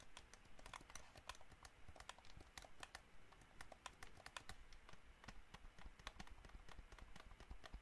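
Fingertips and nails tap rapidly on the buttons and shell of a hollow white plastic gamepad. The result is a quiet, dense stream of short, dry, bright clicks with a hollow tone around 1 kHz, over a soft low rumble.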